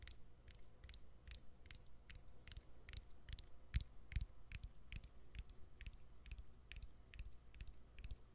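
Fingernails tap the exposed battery and plastic frame of a hand-sized smartphone with its back cover removed. Short, dry, bright clicks repeat at a brisk, somewhat uneven pace over a quiet, low hum. Each tap dies away almost instantly.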